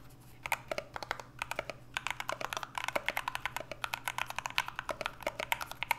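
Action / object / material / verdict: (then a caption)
tap / aluminum mechanical keyboard with PBT keycaps / aluminum, plastic / none. Two hands type fast and steadily with their fingertips on an NK65 65% mechanical keyboard with an aluminum case, Everglide Aqua King switches and PBT Notion keycaps. Each keystroke is a short, crisp clack with bright upper tones, dying away almost instantly. The strokes tumble closely together in quick runs over a faint, steady low hum.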